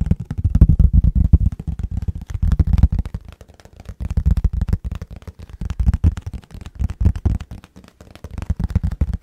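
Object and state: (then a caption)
Empty plastic food container. An empty, medium-sized, hollow, transparent rectangular plastic food container with a lid is held in both hands and tapped and scratched with fingertips and nails. Rapid, irregular streams of short, dull, low-pitched taps come in bursts that swell and fade. Each tap is dry and stops almost at once.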